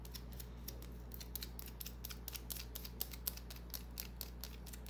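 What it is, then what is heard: Bar of soap tapped and scratched with nails. Long nails scratch and tap a small, solid white bar of soap held in the palm. The result is a rapid series of short, crisp, bright clicks and scrapes that die away almost instantly, over a steady low hum.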